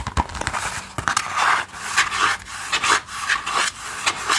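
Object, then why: Sketchbook with kraft cardboard cover. The brown kraft cardboard cover of a small, solid sketchbook with white paper pages, held in both hands, is tapped and scratched quickly with fingertips and nails. Dry, bright scratchy rubs and short taps come in an irregular, fast rhythm, with a papery hiss centered around 1.2 kHz and no ringing after each stroke.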